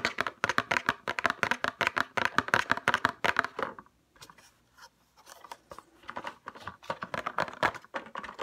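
A RoC night cream paperboard box is tapped with fingernails and fingertips, first lying down and then upright. It gives quick, dry, clicky taps with a bright papery tone and almost no ring, in an irregular rapid run. The tapping softens briefly near the middle, then picks up again.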